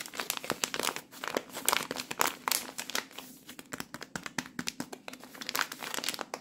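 Fingers squeeze and crinkle a plastic-film microwave rice pouch full of cooked rice. Rapid, dense bright crackles and crinkles come in uneven bursts with almost no low end. Each snap dies away quickly, leaving a quiet, continuous rustle.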